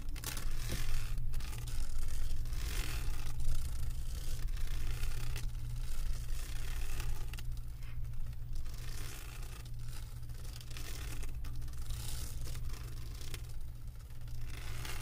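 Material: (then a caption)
Resin. Long acrylic nails scratch across the resin drills of a flat diamond painting on a canvas board. The result is a steady, bright scratching and rustling texture with faint ticks, over a constant low hum that stays throughout.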